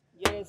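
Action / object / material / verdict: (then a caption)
knock / steel car body panel / sheet steel / original. A knuckle knocks twice on the metal body panel of a used car, checking whether it holds body filler. Each knock is a short, solid thud with a brief ring around 430 Hz and little bright content. The panel is original with no filler, which gives it that thick knocking sound.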